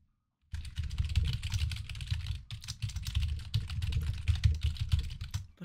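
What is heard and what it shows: A full-size mechanical computer keyboard with pastel pink, mint, yellow and blue plastic keycaps sits on a desk and is typed on rapidly with the fingertips of both hands. After half a second of silence, steady clacking begins, with deep thumpy key strikes topped by bright clicks. The typing briefly dips around the middle before carrying on to the end.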